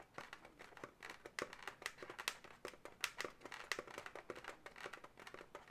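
Long natural nails scratch and tap the segments near a twist on a pale pink, hollow, air-filled twisted latex balloon animal. A quick, irregular run of short, dry clicks and rubbery squeaks is heard, bright and sharp with almost no low end, each sound dying away almost instantly.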